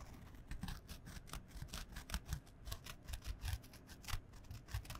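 Long fingernails scratch a small, flat, printed canvas fabric pouch held close in front of the microphone. A quick run of short, dry rasping strokes carries bright, scratchy texture above a soft, low fabric thump. The scratching stays quiet and steady throughout.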